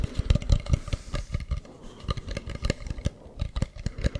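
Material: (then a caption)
Wood. Fingertips and nails tap and scratch the carved front of a hollow carved wooden mask held close to the mic. A rapid, uneven run of short, dry, deep thumps sits over faint scratching, with each tap dying away almost at once.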